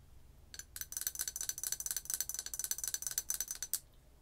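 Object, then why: Ceramic coffee mug. Long acrylic nails tap rapidly on the side of a large, hollow, apparently empty white-and-green ceramic coffee mug printed with "It's the Most Wonderful Time of the Year," held by its handle. The result is a quick run of light, bright clicks, each with a thin, high ringing tone that dies away almost instantly. The clicks start after a short quiet lead-in and end abruptly.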